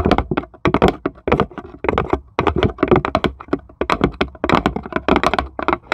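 Long stiletto nails on both hands tap rapidly on the flat base of a small, empty plywood serving tray with handle cut-outs, while a marble sits still in one corner. The taps are quick, dry, hollow clicks and cracks with a mid-pitched wooden body and almost no ring. They come in uneven bursts with brief pauses between them.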